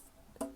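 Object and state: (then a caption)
Empty can-shaped packaging, hollow. Two taps on the empty spinach-can-shaped packaging box that holds a Mezco One:12 Collective MDX Exclusive Popeye figure, giving short, hollow, knocking tones with a brief ring. It sounds hollow because the contents have already been taken out.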